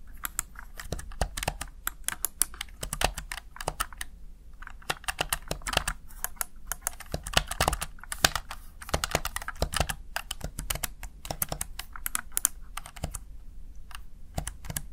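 Fingertips rapidly press the keys of a plastic, backlit Razer Tartarus Chroma gaming keypad, producing a dense stream of short, dry clicks and taps with a soft low thump under a bright click. There is a brief pause around four seconds before the tapping resumes at a steady pace.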